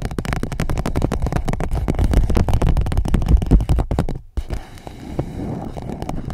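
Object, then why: Empty clear PVC pouch. Long nails scratch and tap an empty clear PVC pouch wrapped around the mic, making a dense run of quick, crinkly plastic taps and scrapes with a boomy low thump. After about four seconds the sound cuts out briefly, then turns into a quieter, softer scratching rustle until the end.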